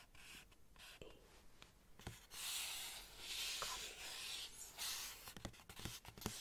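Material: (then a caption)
Cardboard. Long painted nails scratch and tap the printed cardboard side of a black Converse cardboard shoe box with tissue paper inside, held in front of the chest. Soft, bright, hissing scratches swell and fade in long strokes, broken by sharp, dry little taps at an uneven pace, all at a quiet level.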